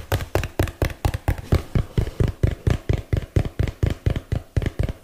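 A small, hollow, printed cardboard box held in both hands is tapped with fingertips and nails close to the mic, 24 times in a steady rhythm of about two taps per second. Each tap is a short, dry, low thump around 105 Hz that dies away almost instantly.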